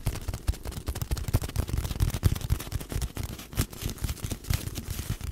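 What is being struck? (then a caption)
Cardboard tube. Long nails tap and scratch along a long, hollow, empty brown cardboard tube laid horizontally across the top of a microphone. Quick, dry, hollow taps with deep, boomy thumps come in a dense, uneven stream, with faint scratchy rustling between them.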